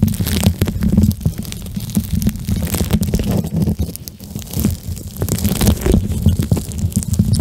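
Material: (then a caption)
Plastic gel. Fingertips and nails squeeze and rub a soft, flexible pink plastic eye mask filled with small gel beads, held close to the microphone. The result is a steady, low, squishy rumble full of dense crackles and bright little clicks that swell and fade as the grip shifts.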